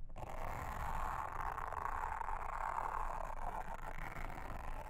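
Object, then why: Silicone honeycomb trivet mat. A pink mascara spoolie brush, held in a hand with long red nails, brushes and scratches across a round blue silicone honeycomb trivet lying flat on a table. The result is a steady, soft scratchy rustle with a midrange hiss and a low rumble underneath, holding an even level for the whole clip.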